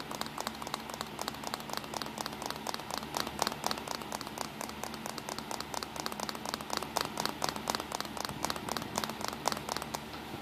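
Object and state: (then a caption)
Plastic compact camera. Fingertips tap rapidly on the casing of a small black plastic compact digital camera resting on a towel, with its back and buttons facing up. The result is a dense, steady stream of short, dry, bright clicks with no ring, over a soft constant hiss.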